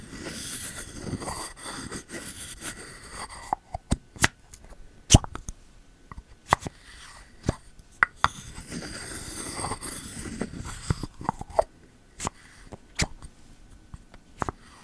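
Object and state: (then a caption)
Bamboo lid on a ceramic candle jar. Fingertips remove and reinsert the bamboo lid of a pink ceramic candle vessel, making short, dry, low plops that stop almost instantly. The plops come in a quiet, irregular series, mixed with stretches of soft, bright rustling.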